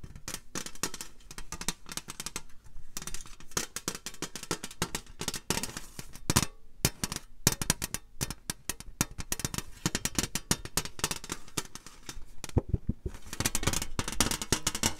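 A hollow, rectangular printed metal Glossybox tin with rounded corners is held in both hands up close and tapped with long green nails. Rapid, dense clicky taps with short, dry decays carry a low body with bright edges, broken by brief pauses.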